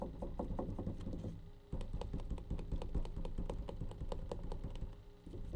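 A plastic bleach tray is tapped in quick, light, dry clicks over a low hum. The taps keep a steady patter for about a second and a half, pause briefly, then resume for the rest of the clip.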